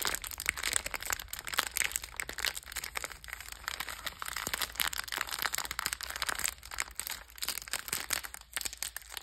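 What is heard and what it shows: Fingers with long red nails squeeze, crush and crinkle a sealed purple Bisbox biscuit pack in metallized plastic film, full of cookies, then turn it over to show the back. The result is a steady stream of sharp, bright crackles and crinkles with very little low end, each snap dying away almost instantly.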